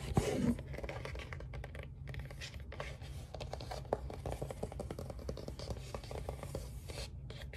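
Fingertips and nails scratch and tap the glossy printed cardboard of a large, flat LP album sleeve (ABBA's *Waterloo*), held upright and turned from front to back. The result is a steady, dense, low-heavy rustling scrape sprinkled with small dry taps, slightly louder in the first half-second.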